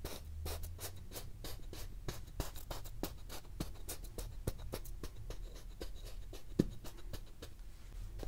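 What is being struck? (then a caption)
Moulded kinetic sand shape pressed with a wooden tool. A wooden tool with a textured end is repeatedly pressed and stamped into a solid, palm-sized truck molded from yellow kinetic sand. The result is a steady run of short, dry crunches with a soft, low body and brief bright grainy edges, with one sharper stamp near the end. The tool crunches the sand's surface into a waffle pattern.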